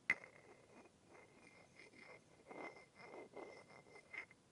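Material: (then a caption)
Wood. A wooden stick with a rounded end, held in the fingers, taps and rubs against the shaft of an upright, light wooden massage tool that is solid and smooth with a rounded knob head. A sharp, bright tap opens the clip, followed by soft, quiet rubbing strokes that swell and fade, with another light tap near the end. A faint, steady tone near 2 kHz runs underneath.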